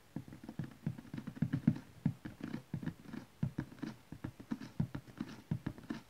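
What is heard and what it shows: A large, flat cardboard DVD collection box, probably full of DVD cases and lying on cloth, is tapped with the long nails and fingertips of both hands. The result is a quick, uneven patter of soft, dull, hollow taps centered low around 200 Hz, each dying away almost at once. Faint clicky edges come from the nails.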